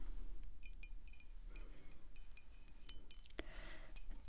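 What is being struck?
Glass wine bottle tapped with fingernails.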